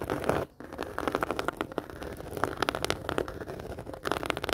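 A medium round black handbag with a woven faux leather surface, hollow and apparently empty, is scratched and tapped with long dark-painted nails and fingertips. Dense, crackly scratching mixes with quick, dry taps, and a brief pause comes near the start.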